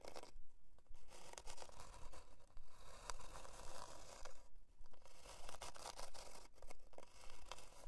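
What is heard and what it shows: Long dark nails scratch back and forth across the surface of a thin, flat, solid plywood heart-shaped board near its twine loop. The result is a steady run of dry, rasping strokes with a scratchy, tearing texture that swell and fade in a fairly regular rhythm.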